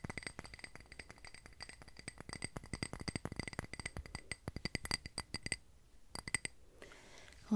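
A small clear glass candle tumbler filled with solid white wax is held in both hands and tapped rapidly with long red-painted nails around its sides and rim. The result is a fast, dense patter of short, bright glassy clinks with a light ring near 2 kHz. The tapping pauses briefly near the end, then a few more taps follow before a soft rustle.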